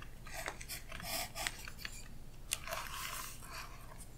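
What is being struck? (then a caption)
Graphite pencil on tracing paper over a book page. A Royal Graphite 4B pencil held in the fingers scratches and strokes across thin translucent tracing paper laid flat over a printed illustration in an open hardcover art book on a solid backing, while the other hand, with orange nails, holds the paper flat. A series of short, dry, bright scratching and rasping strokes is heard, with occasional sharper ticks and faint papery crinkles.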